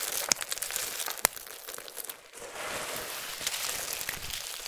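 Fingertips with long nails rake through a large bed of small, solid, dry soap strips in pink, yellow, green and white, then both hands scoop up handfuls and crush them. The sound is a dense, bright crinkling and crunching with a few sharp snaps early on, little low end, and a brief lull before a steadier hiss of crushing.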